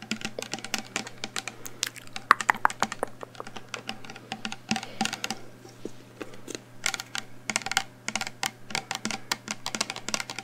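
A full-looking black plastic shower gel bottle with a pump cap is held in the hands and tapped quickly with long painted nails. The taps come as rapid, uneven bursts of sharp, bright clicks that stop almost instantly, over a steady low hum.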